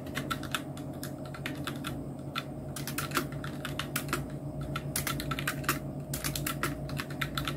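Both hands' fingertips type on a full-size black Nubwo Illusion NK-70 mechanical keyboard with Outemu red switches, round plastic typewriter-style keycaps and blue backlighting. Rapid, uneven plastic clicks and taps, each with a bright crisp top, sit over a steady low hum throughout.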